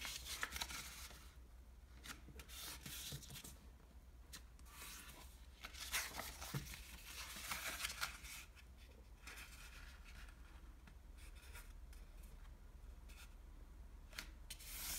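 A single thin square sheet of speckled light blue Japanese washi origami paper on a wooden table is folded by fingertips that rub and press the creases. Soft, bright crinkling and scratchy rubbing come in irregular bursts over a low steady hum, with short papery snaps.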